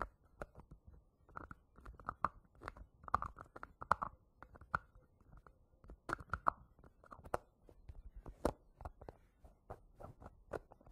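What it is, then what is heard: Plastic hair wax jar. Fingertips and nails scratch and tap the yellow plastic lid of a small, round, green plastic hair wax jar standing on cloth. Quiet, sharp clicks and dry scratching bursts come in an irregular stream, with a hollow mid-range tone and almost no ring after each tap.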